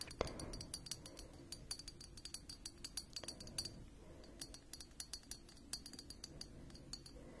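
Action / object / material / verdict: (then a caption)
tap / glass globe of a small plasma lamp / glass / none. Long fingernails tap the hollow glass globe of a small plasma lamp on a black plastic base, held in both hands. A quiet, steady run of short, bright glass clinks follows, each with a faint high ring and a soft low rumble underneath.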